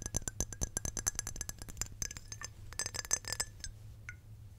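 Long painted nails rapidly tap and scratch a small square glass perfume bottle with a clear glass cap, partly filled with amber liquid and held in the hands. The result is a fast run of bright, sharp clinks with a high glassy ping that dies away almost instantly, over a faint low hum. The taps are dense at first, thin out toward the end, and finish with a few isolated light clicks.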